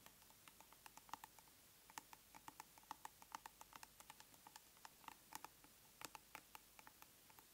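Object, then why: Round plastic cosmetic tub lid. Long nails tap and scratch the lid face of a large round plastic tub of aloe soothing gel held upright. About 34 quick, quiet, dry clicks sound at an uneven pace, each with a hollow tone near 900 Hz and a bright edge, dying away almost instantly over a faint hiss.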